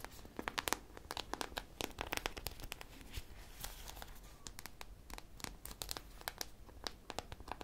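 A hand-sized, solid soft polyurethane foam squishy shaped like an ice cream popsicle, with a purple coating and textured sprinkles, is held close to the mic and scratched and tapped with long painted nails. Rapid, crisp clicks and dry scratching crackles follow one another in dense bursts, bright and sharp with almost no ring, over a faint low rumble.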